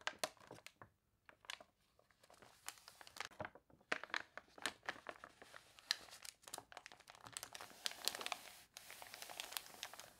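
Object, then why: Glossy paper catalog pages. A glossy paper toy catalog with warped pages is handled as long nails rub across the spread and a page is turned. Dense, bright crinkles and crunchy crackles come in quick bursts, with little low end. The sound is a steady run of dry, papery crinkling and rustling.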